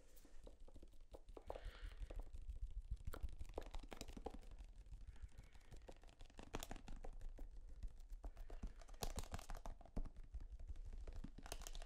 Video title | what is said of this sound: ASMR Tapping On EVERYTHING | never really thought about the material that tubes of toothpaste are made of but like this thick plastic it's kind of unique